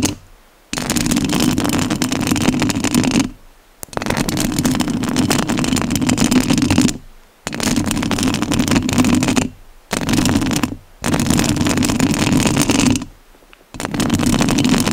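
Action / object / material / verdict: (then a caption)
scrape / metal mesh microphone grille / metal mesh / none. Long nails scratch the top of the metal mesh grille on a rhinestone-covered studio microphone in six bursts separated by brief silences. Each burst is a dense, rough scraping with a strong low-mid rumble and bright hiss across the top.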